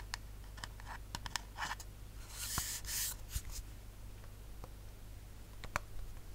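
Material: Metal.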